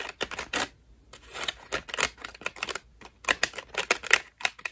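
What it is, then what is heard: Foam bath loofah scratched with nails. A white ruffled foam bath loofah, held in both hands, is scratched rapidly with long pink nails. The result is a quick run of dry, crackly, bright scratching bursts with little low end, broken by brief pauses.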